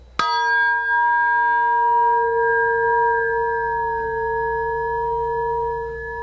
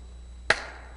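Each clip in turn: First: aluminum piece ringing strongly. Second: polymer piece with damped resonance.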